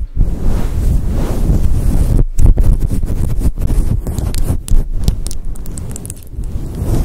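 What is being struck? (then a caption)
Faux fur microphone windscreen. A grey and white fluffy faux fur windscreen over a microphone is rubbed and squeezed with fingers and long nails. This produces a dense, continuous low rumbling rustle with crackly scraping and a few brief dips into near silence.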